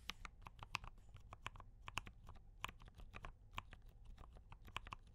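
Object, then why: Mechanical keyboard with plastic keycaps. Continuous fingertip typing on a compact D84 mechanical keyboard with brown switches and cream and red plastic keycaps, both hands tapping steadily. Each keystroke is a short, dry click with a bright top, centred near 1 kHz, over a low background rumble.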